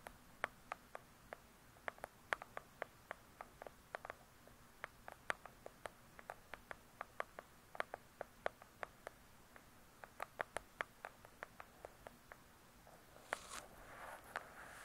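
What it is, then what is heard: Hardcover book tapped with fingernails. Long pointed nails tap on the laminated cover of a large hardcover book, producing about 49 quick, dry, high clicks with almost no ring, spread unevenly across the clip. Near the end, a louder, continuous brushing noise rises over a quiet background.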